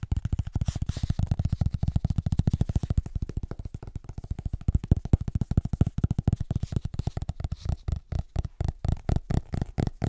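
Fingertips and short nails rapidly tap and scratch the front cover of a large, solid, illustrated hardcover atlas book held upright. The result is a dense run of short, dull, low thuds with almost no high end, spacing out into slower, more separate taps toward the end.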